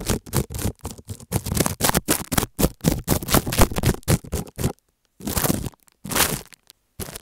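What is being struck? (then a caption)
Plastic bubble wrap. A thin white plastic stick scratches and scrapes across a small sheet of clear plastic bubble wrap taped flat over an earphone cable mic on a dark table. The result is a fast, uneven run of close, crackly scraping bursts with a heavy low thump and bright crinkle in each stroke. After a brief silence near the five-second mark, a few separate scrapes follow.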